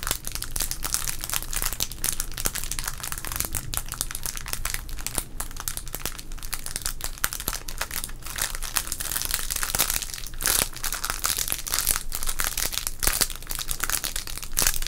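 A small, sealed green 1990 Topps wax-paper baseball card pack, full of cards, is crinkled and rubbed with the fingertips of both hands. The result is a steady, dense stream of bright, crisp crackles and rustles over a low rumble for the whole clip, with no pauses.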